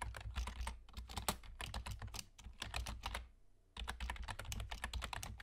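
Fingertips of both hands type quickly on the hollow key caps of a black plastic external gaming keyboard with a German layout. Dense, short plastic clacks carry a low, hollow thump under bright ticks. The typing stops briefly just past the middle, then resumes at the same fast pace.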